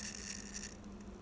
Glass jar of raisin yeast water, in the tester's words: you can hear it leaking out from there